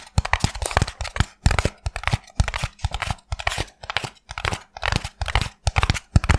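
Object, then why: Expanded polystyrene foam block. A small white block of expanded polystyrene foam is held in both hands while fingertips and nails rapidly tap and scratch its surface. The result is a quick, irregular run of dry, squeaky crackles and crunchy scrapes, each burst pairing a soft low thump with bright, gritty texture. The bursts are separated by brief silent gaps.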